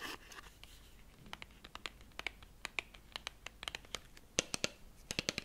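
A small, slim, hollow gold-printed cardboard lipstick box labeled "Matt Longwear" is held in both hands close to a fluffy microphone and scratched along its surface with fingernails and fingertips. A quick series of sharp, bright ticks and scratchy scrapes follows, each dying away almost at once over a quiet hiss, with a few louder clicks near the end.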